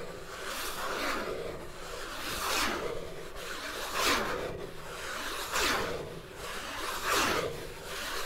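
Fingers rub and scratch along the outer wall of a large, empty, hollow paperboard popcorn bucket held tilted, making a dry, raspy scraping sound. The texture swells in five steady, rhythmic strokes with a bright, airy top and a faint hollow resonance underneath.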